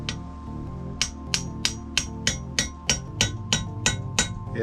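A valve stem seal on a Z20LET engine's cylinder head is tapped down over the valve guide through a 12 mm socket, giving twelve sharp, bright metallic taps over steady background music. The note of the taps changes as the seal is driven all the way home, showing it is fully seated.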